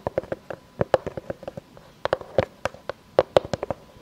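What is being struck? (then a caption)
Round pine board. Long fake nails tap and scratch the face and rim of a solid, round board of light unfinished pine with knots, held upright. About 21 quick, dry clicks come in uneven bursts, each with a hollow woody tone near 550 Hz and almost no ring. Faint scratching fills the gaps between the taps.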